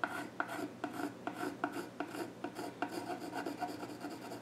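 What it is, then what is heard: Pencil scratching on a wooden stool top. A pencil scratches sketch lines across the flat top of a solid, dark-stained wooden child's stool. Short, dry rasping strokes repeat at an uneven pace, each with a sharp scratchy onset and a steady gritty hiss between them.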